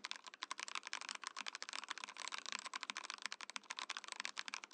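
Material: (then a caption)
Plastic. Fingertips type rapidly on a compact Mojo68 mechanical keyboard with a translucent plastic case and plastic keycaps. The result is a quick, steady stream of crisp, bright clacks with very short decays and almost no low end.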